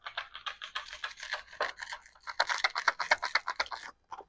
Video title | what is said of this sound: Unboxing the @6thsensefishing July Sack! | a thud so it's the heavy one knock